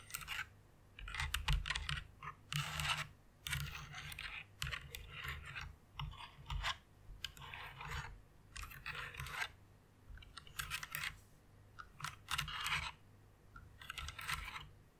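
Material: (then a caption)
Plastic. Long nails type fast on a white plastic mechanical keyboard with RGB backlight, possibly with light scratching on the keycaps. Bright, rapid plastic clicks and clatter come in short bursts separated by brief pauses, over a steady low hum.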